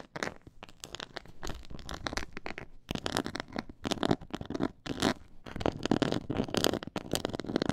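Long fingernails scratch across a black pyramid-textured faux leather board. Dense, dry crackling scrapes come in irregular bursts with brief pauses, rasping across a broad range from low to bright, and each stroke stops dead with no ring.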